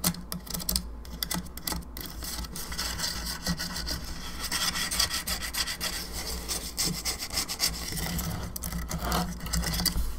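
Long nails scratch and rub across the face and sides of a hollow plastic skull candelabra lamp, producing a continuous dry, bright scraping texture. Quick rasping strokes and small ticks run steadily throughout, over a low, steady hum underneath.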